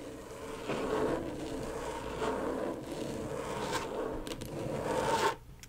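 Long pointed acrylic nails from both hands quickly tap and scratch the plastic surface of a flat, thin, backlit rectangular LED tracing pad lying flat. The result is a continuous dry, scratchy rasp with a mid-range tone around 900 Hz, rising to a louder burst near the end before cutting off abruptly.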